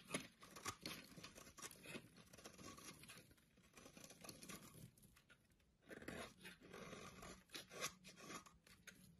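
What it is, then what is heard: Bar soap being carved. A blade scrapes and carves curly shavings off the cut face of a solid orange bar of soap held in the hand. The result is a quiet, dense run of crisp, bright scraping and crackling. It dips briefly just before the six-second mark, then picks up again with sharper strokes.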